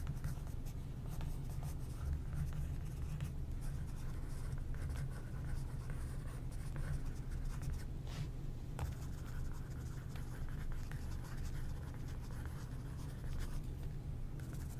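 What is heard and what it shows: A wooden stick scratches and traces over the printed photos on a glossy magazine page while a flat hand holds the page down. It makes a steady, low, quiet scraping with soft rubbing and brief brighter streaks of friction throughout.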